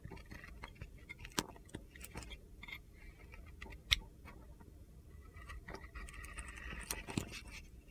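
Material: Soap.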